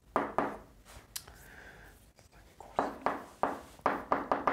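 A right hand writes formulas with white chalk on a large, flat green chalkboard, making sharp tapping and scratching strokes of chalk against the board surface. Short, bright clicks come in quick bursts, with a quieter stretch of faint scraping in the middle before the rapid taps return.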